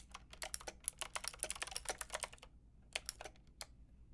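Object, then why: Plastic mechanical keyboard with round keycaps. A Lofree mechanical keyboard with a plastic frame and round keycaps is typed on with long red nails, giving quick, bright, clicky keystrokes with almost no ring. A dense burst of typing runs for about two and a half seconds, then stops briefly. It ends with a few sparse one-hand key presses over a faint low hum.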